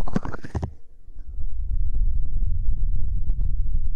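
Fingertips and nails tap quickly and scratch on a square, stuffed, printed fabric throw pillow. A short, bright scratchy rustle opens the clip, then gives way to a steady stream of soft, dull, low thumps that blur into a continuous muffled patter.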